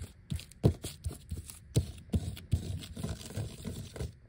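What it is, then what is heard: Vinyl sticker sheet, tapped and scratched. Fingertips and short nails quickly tap and scratch a flat, thin black vinyl sticker sheet with large die-cut letters, some removed to show the white backing. The result is a quiet, uneven patter of dull, low thumps that die away almost at once, mixed with soft, faint scratching between them.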